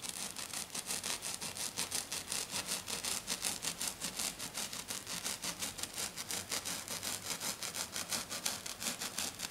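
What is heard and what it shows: A hand scratches its fingernails back and forth across a flat silver glitter sheet lying on a table. The result is a fast, steady run of bright, hissy scratching strokes that keep an even pace and level throughout.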